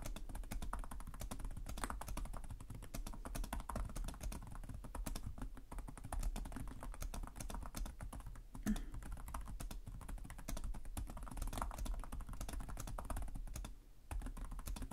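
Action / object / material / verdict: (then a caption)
tap / plastic laptop keyboard / plastic / none. Fingertips with short nails type continuously on the plastic chiclet keyboard of a black laptop resting on a desk. The result is a steady stream of rapid, soft key taps with a dull, low-heavy tone and very short decay. There is a brief pause near the end.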